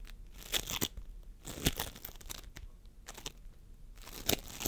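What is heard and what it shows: Fingertips of both hands squeeze, press and pull a sticky mound of pastel floam sculpting foam, polystyrene microbeads in a sticky binder, resting on a wooden table. The result is a run of bright, crinkly, crunchy crackles with soft sticky tearing sounds, rising in louder bursts between quieter stretches.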